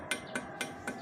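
Four knocks on a new aftermarket racing exhaust muffler for a Ninja 250SL give short, dense metallic taps with a bright tone near 1.5 kHz that dies away quickly instead of ringing. The solid, non-tinny sound marks the metal as thick-walled rather than thin, a sign of good build quality.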